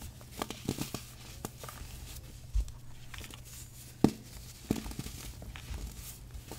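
A small, solid, yellow-dyed compressed baking soda puck is held in both hands over a tray of loose powder and other pucks, and fingertips and short nails squeeze it and break it in half, then crush and rub it into crumbly chunks. Quiet, dry crunching and crumbling rustle along over a faint low hum, punctuated by a few sharper cracks as the puck snaps apart.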